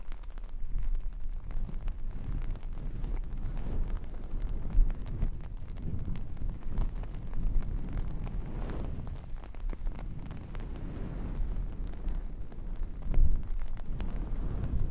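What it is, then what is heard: Faux fur fabric being scratched. A hand with fingertips and long painted nails rubs and scratches a red and black long-pile faux fur fabric. The result is a continuous, muffled, low-pitched rustling and scratching with almost no high end, broken by a few louder bumps near 5 and 13 seconds.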